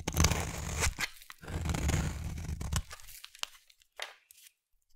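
A utility knife blade scrapes a solid oval pink soap bar that is partly carved, shaving off crumbly bits. Two long, low, gritty scrapes with a bright rasping edge are heard, each ending in a crisp snap, followed by a few short, quieter ticks and crumbles.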